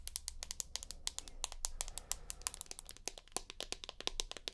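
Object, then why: Smartphone with glass back. Long nails tap and scratch the glass back of a larger rose gold iPhone Plus with a dual camera. A rapid run of sharp, dry clicks with bright, high edges and almost no ring sits over a faint low hum and soft scratching between taps.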